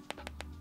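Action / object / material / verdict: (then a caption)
tap / smartphone plastic back panel / plastic / none. Three light taps on the plastic back panel of a Google Pixel 6a with an aluminum frame, each a short, sharp click with almost no ring. The taps sound very similar to a Pixel 6 Pro's glass back, so the plastic doesn't come across as plastic. A low steady hum runs underneath.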